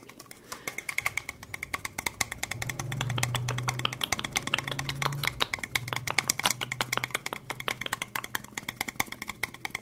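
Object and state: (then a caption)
Clear plastic cup. Long acrylic nails rapidly tap and scratch the sides of a small, clear, ribbed plastic cup that is hollow and empty and held in the hands. The result is a dense run of sharp, dry clicks with bright, hollow ticks around 2.2 kHz, over a soft low hum that swells in the middle.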